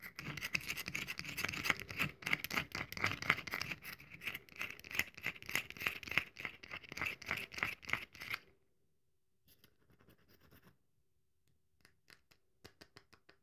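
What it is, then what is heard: Dry bar of soap being scratched and crumbled. Long nails scratch and crumble the surface of a solid, very dry bar of soap held in both hands, making dense, bright, rapid scraping for about eight seconds. Then comes a near-silent pause, followed by a few sparse, softer crumbling scratches toward the end.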